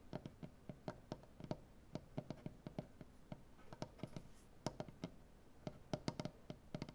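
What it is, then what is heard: Wooden butcher-block table. Both hands tap the tips of painted nails on a large solid maple butcher-block tabletop in a quick, irregular run of short, dry taps. Each tap has a woody low knock with a bright click on top and dies away almost at once, over a quiet, soft background.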